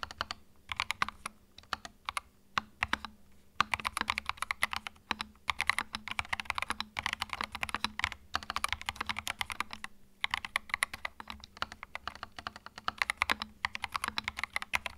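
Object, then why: Plastic mechanical keyboard. Fingertips type steadily on a small white 65% mechanical keyboard with plastic keycaps and a hollow plastic case, resting on a felt mat. The result is a dense run of sharp, clicky keystrokes with a bright, hollow clack, a faint low hum underneath, and a couple of brief pauses in the typing.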